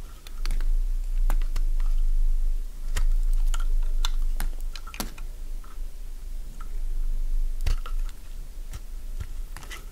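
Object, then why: Bar of soap shaved with a metal blade. A metal blade shaves crisp pieces from a solid light-green bar of Fa soap held in the hand. Sharp, bright crunching clicks come in irregular bursts over a steady low rumble.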